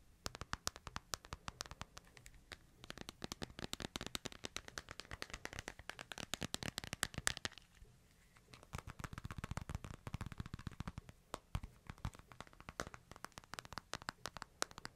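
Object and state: Smartphone glass screen tapped.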